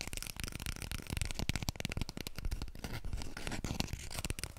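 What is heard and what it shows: A small, full roll of white toilet paper, held upright in both hands, is scratched rapidly with long nails and fingertips. The result is a dense, continuous run of quick scratchy strokes with soft, muffled low thumps underneath and a bright papery crackle on top.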